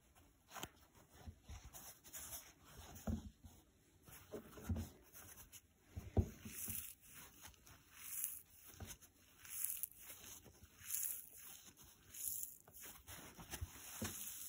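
A dry, rectangular blue polyurethane foam kitchen sponge with a green nylon scouring layer is squeezed and scratched by fingertips and short painted nails. Quiet, crisp, crackly scratching and soft crunching squeezes come in short repeated bursts with brief pauses between them.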